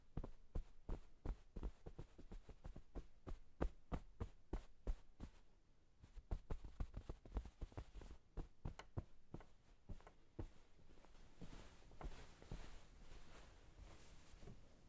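Satin-gloved fingers rub and scratch across a blue sheep-print flannel-covered pillow on a table, then brush it with quick strokes. The result is a rapid series of soft, low, muffled thumps with brief scratchy fabric noise. The strokes are closely spaced and fade into a gentler, airy brushing toward the end.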